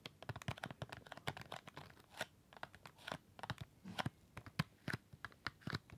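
A flat dark cardboard chocolate gift box, a presentation tray holding six small wrapped chocolate bars, is held close and tapped and scratched across the bar wrappers with fingertips and nails. The result is a quick, dense run of dry clicking taps mixed with crinkly, papery scratches. Each tap dies away almost instantly, with a soft low thump under brighter rustling.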